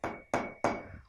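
A wooden spoon taps a glass three times, each strike a sharp clink with a short, thin ring that fades quickly. The sound is high and thin rather than deep.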